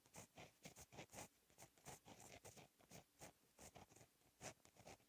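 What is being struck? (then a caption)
Gel pen on paper notebook page. A fine-tip gel pen held in the fingers writes Korean cursive in blue ink on a lined black paper notebook page lying flat on a solid surface. The pen tip makes quiet, continuous scratching with short bursts of bright, dry friction between the strokes, and no ringing after them.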